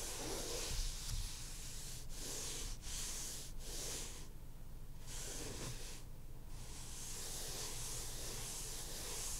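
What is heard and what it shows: Short fingernails scratch and rub the maroon cloth cover of a hardcover book lying flat. The result is a steady, soft hissing scrape with bright texture, broken by brief pauses between strokes, over a faint low rumble.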